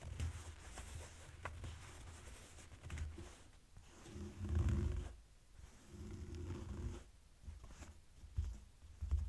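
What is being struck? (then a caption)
Folded denim jeans. Folded blue denim jeans lying on a table are scratched and rubbed with fingertips and short nails. The result is a soft, low, rumbling scrape that swells and fades in slow strokes, with a faint high hiss of fabric texture.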